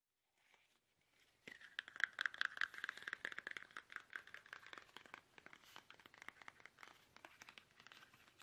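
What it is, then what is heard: Plastic toothpaste tube tapped. A small, soft, hollow plastic toothpaste tube is held upright in both hands while fingertips tap it quickly. After near silence for the first second and a half, a fast, irregular stream of light, crinkly, plastic taps with a bright midrange tone near 1.6 kHz begins. The tapping stays dense and quiet to the end.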